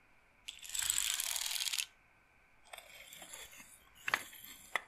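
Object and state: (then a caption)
Wooden bead massage roller. A handheld rectangular wooden frame strung with rows of small wooden beads, a wooden bead massage roller, is handled with long painted nails as the beads are rolled and shaken. A dense, bright clattering rattle lasts just over a second, then a pause follows. Softer, scattered bead clicking returns, with a few sharp, dry clacks near the end.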